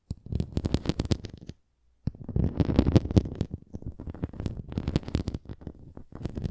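A red plastic flying disc toy is held upright while long nails scratch across its bumpy surface and rim. The result is a dense run of low, gritty scratching with brief bright clicks. It pauses for about half a second near the two-second mark, then continues in uneven bursts.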